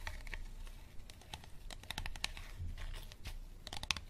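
Fingernails scratch and tap an empty, clear, unlabeled hollow plastic water bottle while hands squeeze it. Quick, dry clicks and scratchy taps mix with bright crinkling over a low rumble. The sounds come in a dense, irregular series with almost no ring.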